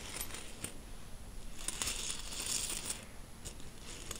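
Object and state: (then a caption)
Handful of metal coins. A handful of mixed solid metal coins, silver-coloured and copper, is gripped in a fist and shaken, then dropped onto a fabric bedsheet and spread around by fingertips. Bright metallic clinks and jingles come in scattered bursts, with a denser, rustling cluster of chinks in the middle and softer scrapes and taps toward the end.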